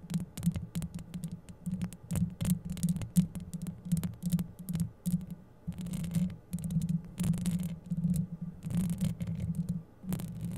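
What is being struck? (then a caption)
Metal mesh microphone grille. Long yellow acrylic nails scratch up and down the rounded, hollow metal mesh grille of a microphone. Dense, rapid scraping and tapping bursts sit over a steady low hum near 190 Hz, with thin bright crackles at each stroke.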